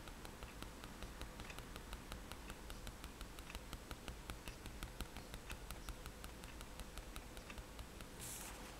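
The metal tip of a fine-liner pen taps rapidly and repeatedly on a white paper page of a sketchbook lying flat on a table, stippling dots. The result is a steady stream of quick, bright, dry ticks over a low background hum, with a brief brighter rustle near the end.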